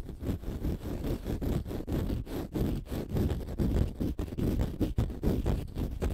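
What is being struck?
Konjac facial sponge.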